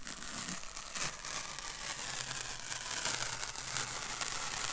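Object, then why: Paper masking tape. A long strip of thin white paper masking tape is held up, its end pinched and rubbed between the fingertips. The result is a steady, dry, crinkling rustle, bright and papery, with small crackling bursts and a faint low hum underneath.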